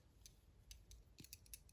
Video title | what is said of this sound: Hogue Ballista - One of the most impressive and underrated automatic EDC knives I’ve come across!! | there's just a little bit of a rattle in there, just a little bit